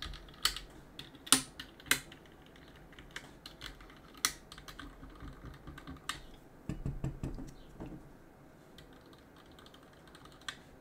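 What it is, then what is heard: Plastic and aluminum mechanical keyboard. A gloved hand scrapes and rubs a cotton swab between the plastic keycaps of a backlit plastic and aluminum mechanical keyboard. Sharp, bright clicks and ticks land at irregular intervals over a low, soft scratching and rubbing. A denser patch of scraping comes in near the middle before it thins out to quiet rubbing.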